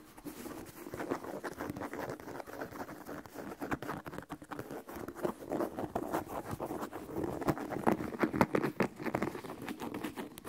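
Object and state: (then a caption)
Leather sneaker tapped and scratched. Fingertips and short nails tap and scratch the upper and rubber sole of a single white leather low-top sneaker, hollow and empty, held in hand. A steady stream of quick, soft, dry taps and scratchy rustles patters on with a muted, mid-toned hollow body. The bursts grow slightly denser and louder toward the end.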